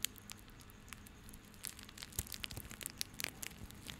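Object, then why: Coiled plastic rope. A small coiled bundle of white plastic rope is held in both hands while fingertips rub and squeeze it. This produces quiet, bright crinkling and crackling with scattered sharp ticks over a low steady hum.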